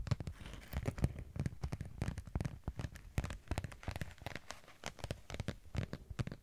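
A thin, flexible holographic vinyl sheet with a sparkly raised texture, about A5 size, is held up in one hand and scratched with long acrylic nails. Dense, rapid crackly scratches and clicks come in quick bursts, with a low body and short, dry transients that die away almost at once.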